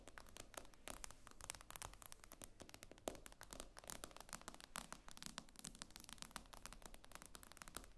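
Long acrylic nails rapidly tap and scratch the glossy glass screen of a tablet lying flat on a table. The result is a quiet, dense stream of sharp, bright clicks with short scratchy scrapes between them. Each tap dies away almost instantly, over a faint low rumble.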